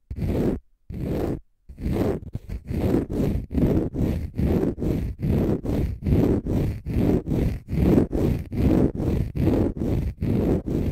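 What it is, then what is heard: Konjac fiber facial sponge scratched. Fingernails scratch a palm-sized, pale green konjac fiber facial sponge, solid and porous. The result is a steady series of rough, rasping scrapes, each a short burst with a deep, low-heavy body and little brightness, separated by brief gaps.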